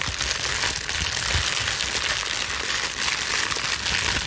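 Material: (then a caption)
Plastic. A plastic bubble wrap sheet, gathered vertically in both hands, is scrunched and squeezed with long nails. It makes a steady, dense crinkling and crackling that stays bright and high throughout, with little low end and no separate pauses.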